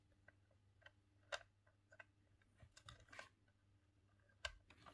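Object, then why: Plastic game controller. A green hollow plastic Nintendo 64 controller is held in both hands while the thumbs press the face buttons and the joystick. Nine quiet, short, bright plastic clicks and taps sound over a low steady hum, with a few sharper clicks standing out.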